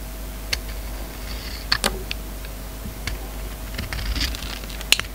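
An oval solid soap bar with a glossy red coating and black interior, held in the hand, is shaved with a utility knife blade. Short, crisp, bright scraping clicks come at irregular intervals, with a sharper snap near the end, over a steady low hum.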